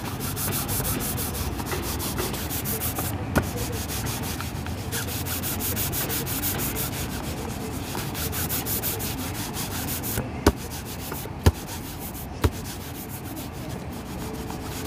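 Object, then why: Leather dress shoe buffed with a cloth. A long fabric buffing cloth is pulled rapidly back and forth across the toe of a cheap black polished leather dress shoe worn on a foot on a shoe-shine stand. It makes a steady, dense, low-heavy rubbing swish with a faint bright hiss. A few sharp, short snaps of the cloth stand out, mostly near the end.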